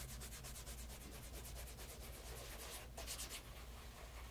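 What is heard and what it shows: Cloth-wrapped fingers rub the toe and side of a pebble grain leather loafer's upper while the shoe, fitted with a wooden shoe tree, is held and tilted. It makes a quiet, steady run of quick, rhythmic swishing strokes with a bright, airy texture over a low, constant hum, and a slightly stronger pass comes near the end.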